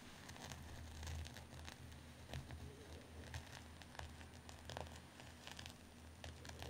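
Fingertips and nails scratch and rub a medium white cotton terry towel with a dark embroidered pattern as it lies flat on a dark cloth surface. Soft, crackly rustling and scratching bursts recur throughout over a steady low hum.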